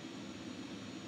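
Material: Nothing is struck.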